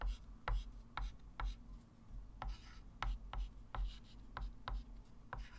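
A white chalk stick writes and circles numbers on a small, solid, flat wood-framed chalkboard. Short, sharp chalk taps and brief scratchy strokes land at an uneven pace, each dying away quickly. A steady low hum sits underneath.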